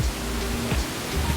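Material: Nothing is struck.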